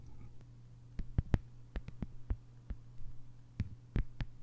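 Long nails tap and scratch the surface of a flat green plastic sheet lying on a table, making short, sharp, quiet clicks. They fall in an irregular rhythm over a steady low hum, with faint scraping between some of the taps.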